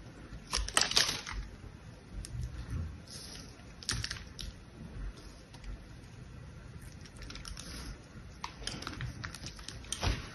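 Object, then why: Bar of soap scratched with a knife tip. The tip of an orange utility knife scores and scratches a grid pattern into the gold-painted, patterned face of a palm-sized solid bar of soap held in one hand. Crisp, bright scraping clicks come in short bursts, loudest near the start and again at the end. A soft low rumble runs underneath.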